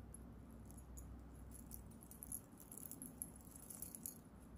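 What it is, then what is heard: Metal charm bracelet. An antique-bronze metal chain bracelet with many small solid metal charms is held in both hands by fingertips with long nails and shaken so the charms jangle against each other. Quiet, bright, clicking jingles flicker over a steady low hum, growing busier and more scattered in the second half.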